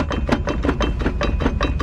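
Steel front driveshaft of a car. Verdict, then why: Loose. A steel front driveshaft on a used Jeep Grand Cherokee is struck repeatedly, giving about ten quick metallic knocks over a steady low rumble. The driveshaft is noisy, pointing to play or wear in it.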